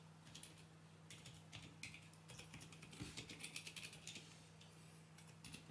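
Fingertips press and tap the keys of a small 40% mechanical keyboard with grey, white and red plastic keycaps, resting on a desk with its cable attached. The result is a quick, irregular run of bright, clacky keystrokes with short, dry decays over a steady low hum.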